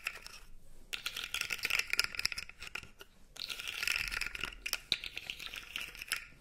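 Long nails rub and scratch the segments of a blue segmented plastic fidget toy held upright, making them click. Dense, irregular bright clicks and scratchy crackles cluster around 2.5 kHz, with brief pauses near the start and in the middle. Each click is dry and dies away almost instantly.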